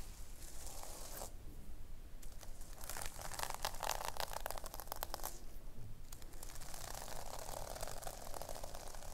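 Long nails scratch and tap across the pink sequin fabric cover of a notebook, flipping the sequin scales. The result is dense, bright, crinkly crackling that comes in bursts, with two short quieter pauses in between.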